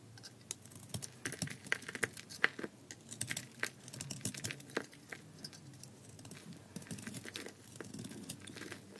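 A palm-sized, solid, gold-coated bar of dry soap with a tan core is held in the hand and shaved with a metal blade in scraping cuts that produce flakes. The quiet, dry scraping crackles with a dense run of short, sharp, bright snaps and crisp tearing rasps, with a few louder cracks standing out over soft shaving noise.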